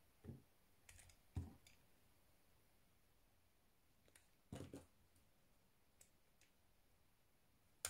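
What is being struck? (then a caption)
Bar of soap cut with a small metal knife. A small metal knife shaves thin curls from a solid white soap bar held in the fingers. Short, soft scraping cuts with dull low thumps and brief bright edges come at irregular intervals, separated by quiet pauses.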